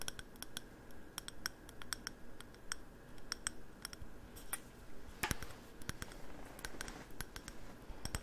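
A mid-sized, hollow, glossy navy-blue ceramic candle jar with a light wooden lid is held in both hands and tapped on its side with the fingernails. Many quick, bright clicking taps come at an uneven pace, each dying away almost instantly over a quiet low rumble.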